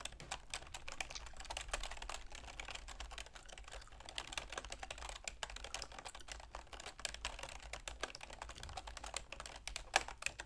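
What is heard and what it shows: Long manicured fingernails and fingertips rapidly tap the keys of a full-size black plastic keyboard with a silver plastic frame resting on a wooden desk. A dense, steady stream of quiet, sharp plastic clicks with bright edges runs throughout over a faint low hum, with a few slightly louder taps near the end.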